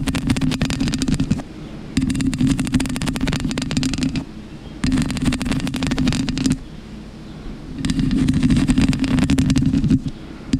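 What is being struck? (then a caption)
Foam microphone windscreen. Long pink acrylic nails of one hand scratch and rub a black, soft, porous foam windscreen covering a microphone in four bursts of dense, crackly scratching. Each burst pairs a muffled, boomy rumble with bright crackle, and quieter pauses fall between them.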